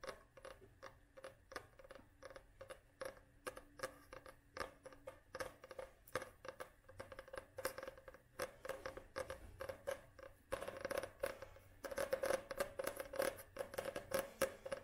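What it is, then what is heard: Paperback book with glossy card cover. Long manicured nails, with rings on the fingers, tap and scratch the glossy cardboard front cover of a solid medium paperback copy of *The Treasure of the City of Ladies*, held upright in both hands. The result is a quick run of short, dry clicks with a faint mid-pitched hollow ring, punctuated by light scratchy brushes. The tapping grows louder and denser toward the end.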